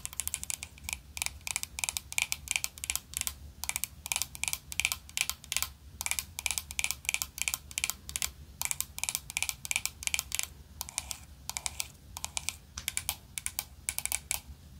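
Long pointed nails rapidly tap and scratch the lid of a small, flat vintage gold-tone metal powder compact with a black rose design, held in the hand and likely closed. The result is a fast, continuous run of short, dry, bright clicks and scrapes with almost no ring and a thin low hum beneath.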